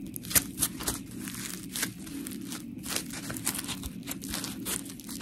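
A palm-sized, solid, round white textured polymer foam scrub sponge with smiley cut-outs is squeezed and scratched with long pink nails. It makes gritty, bright scratching with crinkly, tearing-like bursts over a steady low rustle. The sharp strokes come in quick succession, with short, dry decays.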